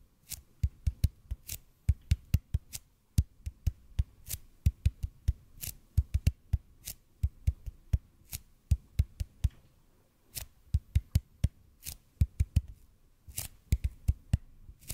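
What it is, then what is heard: EPP foam roller, fingertip tapping. Fingertips slowly tap a large, hollow, red-and-white EPP bead foam roller in front of the microphone. The taps are short, deep, dull thumps, each with a faint bright click at the onset. They come in irregular bursts with brief pauses over a quiet low hum.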